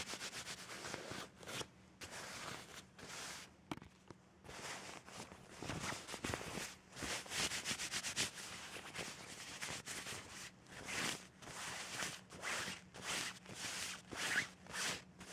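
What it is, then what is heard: Cloth bed sheet being scratched and rubbed. A hand with red-painted nails scratches and rubs vigorously across a white cloth bed sheet lying in folds. Bright, hissy bursts of friction come in quick, uneven strokes, with brief quiet gaps between some passes.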